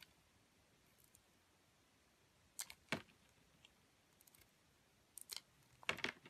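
A metal utility blade cuts into a solid bar soap held in the hand, peeling away its grey coating to reveal the white core. Short, crisp, bright scraping snaps come in irregular bursts over a quiet hiss, with the densest cuts near the end.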